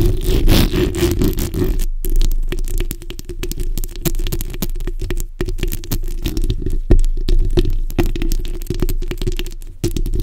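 A black, hollow metal mesh microphone head is scratched with the backs of long white-tipped nails by both hands. The result is a dense, continuous run of rough, crackling scrapes heavy in low rumble, with a steady low hum. A few brief near-silent gaps break up the scratching.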